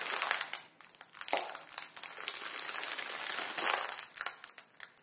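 Fingers squeeze and crush the back side of a full plastic film ramen noodle packet resting on a wooden table. The sound is a dense, bright crinkling and crackling with no low end, swelling and fading in waves over about five seconds.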